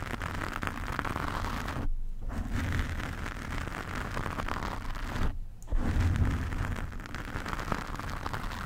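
Long painted nails of both hands scratch and rub a large, soft, porous black foam windscreen over a condenser microphone. The result is a dense, continuous, crackling rumble heavy in the low end, with two brief near-silent pauses in the upper range around two and five and a half seconds before the scratching resumes.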